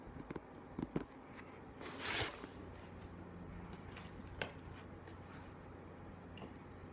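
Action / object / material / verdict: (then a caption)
tap / hardcover book / paper / none. A book is tapped with soft, dull, close-up taps. Short taps cluster in the first second, with a broader bright brushing swell near the two-second mark and a single tap near four and a half seconds. A low steady hum runs underneath.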